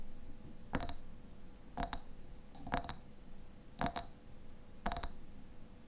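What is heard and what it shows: Fingernails tap the sides of a medium clear glass jar with a white lid, partly filled with pale contents. Five short bursts of quick, bright clicking taps come at a slow, uneven pace, each with a faint glassy ring that dies away almost at once, over a quiet, low background hum.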